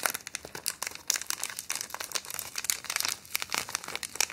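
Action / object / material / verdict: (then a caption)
scrape / thin clear plastic wrapper / thin plastic / none. A small, thin, empty clear plastic wrapper or bag is held up in both hands and crinkled and scrunched with the fingertips and long painted nails. It makes a dense stream of bright, crackly crinkles with sharp, quick snaps and almost no low end, rising and falling in short bursts throughout.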